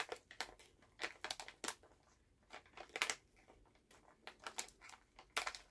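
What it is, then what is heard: Plastic cough drop bag being crinkled. A full plastic Halls cough drop pouch is held in both hands while fingers squeeze and crinkle the bag. The result is a quiet, irregular series of short, bright crackling bursts with sharp onsets and almost no low end, separated by brief near-silent gaps.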